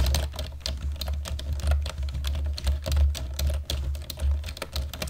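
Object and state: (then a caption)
Plastic computer keyboard. Fast typing with the fingertips of both hands on a black plastic computer keyboard produces a dense, rapid stream of short, bright clicks and clacks. The clicks sit over a steady, heavy low hum that carries most of the sound's energy.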